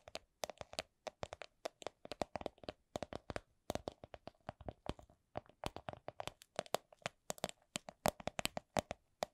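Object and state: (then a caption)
Plastic coin purse tapped with nails. Long nails tap on a small, hollow, transparent plastic coin purse with a bunny print. Many short, dry clicks come in quick irregular bursts, each with a hollow tone around 550 Hz and a bright edge. Each tap dies away almost instantly.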